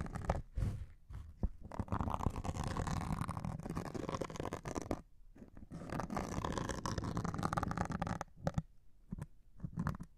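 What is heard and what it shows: A metal needle scratches the grey abrasive top of a hand-held white melamine foam sponge. Continuous rough, low-heavy scratching and scraping is heard in two long passes, broken by brief pauses and a few short scrapes near the end.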